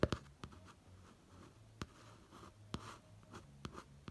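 A fingertip traces and taps the textured print of a pop-art notebook cover at the eye area. Seven soft, dull taps stand out against a faint, low rubbing hiss from the tracing. Each tap dies away almost at once.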